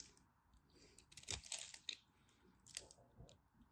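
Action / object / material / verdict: scrape / bar soap cut with a knife / soap / none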